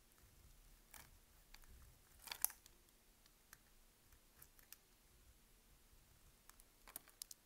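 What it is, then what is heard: Dry bar soap being cut. A utility knife blade shaves and cuts crunchy slices off the scored surface of a solid, palm-sized green bar of dry soap held in both hands. Twelve quiet, bright, crisp crunches and scrapes are heard, the loudest near the middle, each cutting off almost instantly over a faint steady hum.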